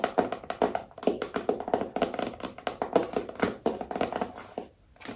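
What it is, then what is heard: Cardboard phone box. Long nails tap rapidly on a small rigid cardboard iPhone box, striking the back label side and the long narrow side. The result is a quick run of dry, hollow clicks with a mid-pitched knock around 480 Hz, each dying away almost at once.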